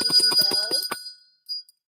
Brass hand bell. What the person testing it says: that one's got a nice ring to it